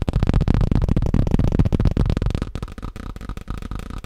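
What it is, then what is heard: Plastic tablecloth. Fast tapping on a plastic tablecloth produces a dense, rapid stream of short, dull, low-heavy taps with little ring. The tapping is busier and louder for the first half, then thins out into softer, more spaced taps.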